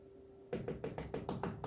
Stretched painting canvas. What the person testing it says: this canvas as tight as a drum